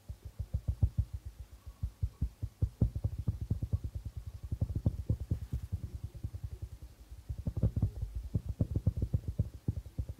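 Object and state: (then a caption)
Darbuka drum with plastic head. The fingertips of both hands tap rhythmically on the plastic head of a hollow darbuka drum. The result is a quick, steady stream of soft, low, muffled thuds that die away almost instantly.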